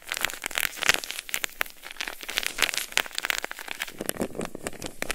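An unwrapped, palm-sized, soft white nonwoven-fabric hand warmer pouch filled with granular powder is rubbed, squeezed and shaken between the fingers. It gives a dense, bright crackling and crinkling rustle of rapid, short grainy bursts with very little low end.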